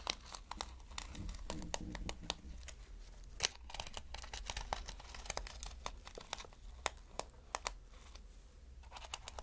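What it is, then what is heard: Plastic sequin fabric. Fingertips scratch across reversible flip sequin fabric and flip its plastic sequins, making a quick run of bright, dry crinkling clicks and rustles. Sharp ticks stand out over a soft scratching bed with a steady low hum underneath, and each click dies away almost instantly.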